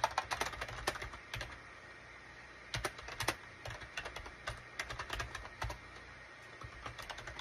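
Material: Plastic.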